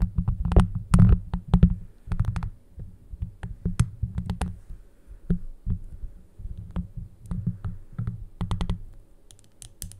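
A handheld plastic scalp massager brush, with a clear hollow plastic dome and yellow silicone spikes, is held over the microphone while long acrylic nails tap and scratch the dome. The result is an irregular series of short, dry clicks and taps with a heavy, muffled low thump, mixed with brief scratchy bursts that reach bright highs.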